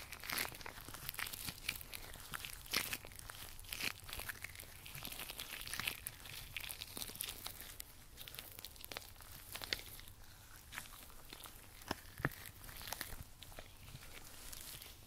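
Thin, slick, shiny white powder-free nitrile gloves worn on both hands rub and slide against each other as the fingers interlace. The result is a continuous stream of bright, rubbery squeaks and crinkles with frequent sharp snaps, over a faint low hum.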